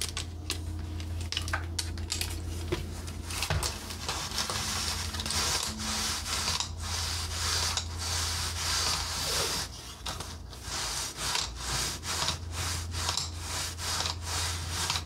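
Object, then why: Painted wooden accordion peg rack. A red painted wooden expandable accordion peg rack with knob pegs and solid slats is tapped with fingernails on the pegs and slats, and the slats are rubbed and shifted by hand. Quick, bright clicking taps mix with dry scraping rubs over a steady low hum.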